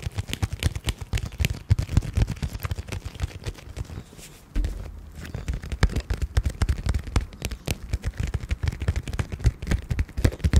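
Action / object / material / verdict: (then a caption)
tap / glitter-filled vinyl makeup pouch / vinyl / none. Long painted acrylic nails tap and scratch across the glittery surface of a small, flat, pink glitter-filled clear vinyl (PVC) zippered makeup pouch with gold corners, held close to the microphone. Rapid, irregular crisp clicks and taps with a dull, low thump carry on throughout, easing briefly into softer scratching just before the halfway point.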